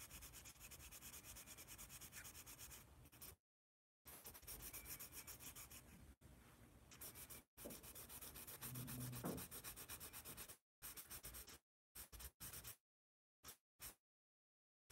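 A yellow wooden pencil is rubbed rapidly back and forth on a large white paper sketch pad held in hand while drawing. The quiet, dense scratching has a bright, papery hiss and comes in long runs broken by brief silences, ending in a few short bursts of strokes.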